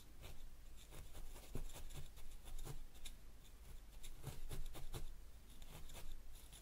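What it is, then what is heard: Needle felting a wool ball on a foam pad. Fingertips hold a felting needle and stab it repeatedly into a small yellow wool ball resting on a white foam pad. Each stab makes a soft, dry, scratchy poke with a brief crisp tick, repeating irregularly over a steady low hum. The pokes die away almost at once, with no ring.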